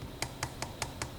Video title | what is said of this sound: Dialed In Podcast - Liquid Elements Polishers: "Not Like The Other Brands" | when you tap this one you hear it it's higher pitched